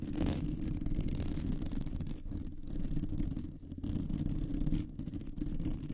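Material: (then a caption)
Metal mesh. Long painted nails on both hands scratch the round, hollow, woven metal wire mesh head of a large condenser microphone. The result is a dense, continuous rumbling scratch concentrated in the low end, with a brief brighter rasp near the start and small dips in level throughout.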